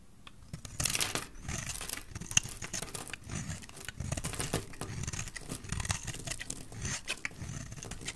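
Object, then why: Bar of soap. A solid oval white bar of dry soap, held in the hand, is shaved and scraped with a metal utility knife blade, curling off flakes. A steady run of dry, rasping scrapes comes through, each stroke pairing a bright, crackly hiss with a soft low rumble. The strokes overlap closely with short pauses between them.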